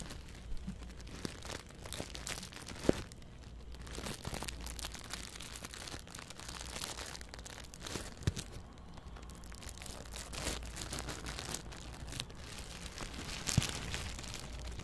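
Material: Plastic.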